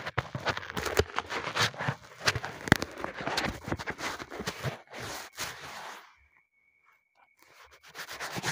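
Gloved fingertips scratch and rub the textured surface of a flat white, hand-sized, solid closed-cell polyethylene foam sheet, held close to a small taped-down microphone. Dense, crackling scrapes and squeaky rubs fill the first six seconds. They drop to near silence with a faint thin tone, then quieter scratching resumes at the end.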